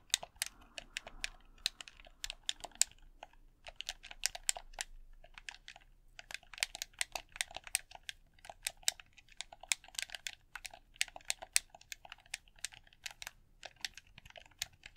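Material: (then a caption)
Plastic. Fingers click the buttons and tap the body of a red, hollow plastic game controller. Many quick, sharp, bright clicks come in irregular bursts, with very short decay and almost no low end. The result is a dense, dry, quiet pattern of plastic clicking and tapping.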